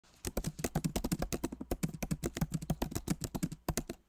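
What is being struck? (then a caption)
Laptop keyboard with plastic keys. Both hands type rapidly with their fingertips on the backlit Magic Keyboard of a MacBook Pro, a solid device with plastic keycaps in an aluminum body. About 29 quick, soft, muted key taps follow one another with a low, thocky body and almost no ring after each press.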